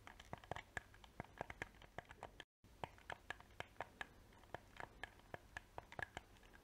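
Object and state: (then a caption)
Plastic game controller. A small, hollow black PS4 plastic game controller has its shell scratched and tapped with painted fingernails. Quick, dry clicks and taps with a slight mid-range ring fall in an uneven, steady patter over soft scratching, with a brief silent gap partway through.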